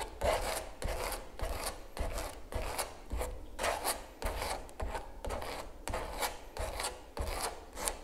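A palette knife scrapes and rubs across the surface of a large stretched canvas giclee print lying on a table. Repeated raspy strokes with a bright, gritty texture over a low, dull thump, at a steady but uneven rhythm.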